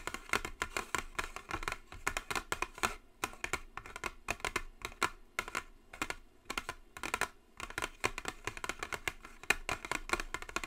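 Long blue acrylic nail tips tap quickly on a flat white cardboard gift box with a gold logo, lying on a table. The taps come in rapid bursts with brief pauses: dry, bright clicks that stop almost instantly, with little low end.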